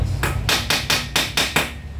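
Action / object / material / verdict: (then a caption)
strike / steel steering bearing race cone being hammered in / steel / seated. A hammer strikes an old race set on top of the steel ball race cone in the steering head of an NMAX V1, driving it in with seven sharp, bright metallic hits that carry a clear ringing tone near 2.5 kHz over a low background rumble. Each blow decays quickly, and the cone ends up fully seated.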